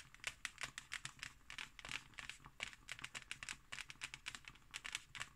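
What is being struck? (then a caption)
Embossed hardcover book cover. Fingernails scratch across the textured pattern of a closed, thick hardcover book with an embossed cover. The result is a quiet, rapid series of short, dry, bright crinkly scratches with almost no low end and no ring after each stroke.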